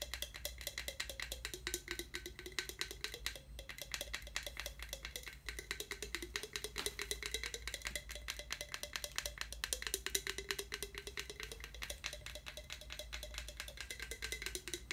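A hollow, empty translucent skull tankard mug, likely hard plastic and glowing orange under blacklight, is held sideways and tapped fast with the fingertips and nails. The result is a dense stream of short, bright, clicky taps over a steady low hum, with a faint tone that shifts back and forth between roughly 400 and 600 Hz.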